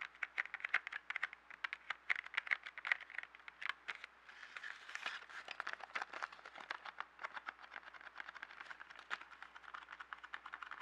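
A small yellow cardboard box holding 12 colored pencils, full of pencils, is tapped quickly with fingertips and nails, then held up and scratched. Rapid, dry, crisp taps with a bright papery click give way to a hissing, rustling scratch, followed by more quick tapping and scratching. There is no ring after each hit and almost no low end.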